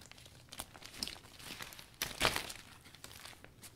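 A new clear polka-dot vinyl umbrella is closed and folded by hand, its thin transparent vinyl crinkling between the ribs. Bright, dry crinkles and rustles come in quick bursts, with one louder crunching swell near the middle before they settle back to softer crackles.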